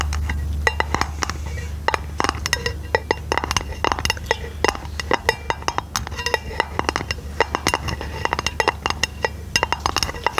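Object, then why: Round aluminium lid. A flat, round, hollow silver aluminum lid held over the microphone is tapped rapidly with long painted fingernails. The result is a dense run of short, sharp clicks with bright metallic ticks and very little ring, over a steady low hum.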